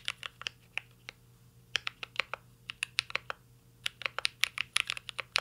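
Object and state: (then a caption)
Mechanical keyboard with plastic keycaps and aluminum case. Both hands type with their fingertips on a full-size mint-green Cyberboard mechanical keyboard with Holy Panda switches, plastic keycaps and an aluminum case, resting solidly on a desk. Sharp, bright, very short key clacks come in an irregular typing rhythm, some in quick flurries, each dying away almost instantly. A faint low steady hum sits underneath.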